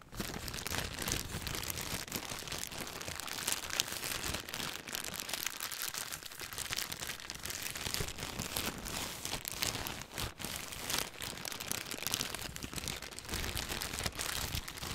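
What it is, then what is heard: Clear plastic bag being crinkled. A thin clear plastic bag with white contents is crinkled and squeezed with fingertips. The result is a steady, dense stream of bright, crackly crinkling, with no pauses and only small swells in loudness throughout.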